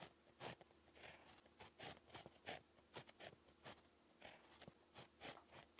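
A pink plastic ballpoint pen tip, held in the fingers, scratches continuously across a flat, solid sheet of lined beige paper on a pad while handwriting. The result is a quiet, quick series of short, dry, bright scratching strokes with crisp edges, separated by brief pauses, over a faint steady low hum.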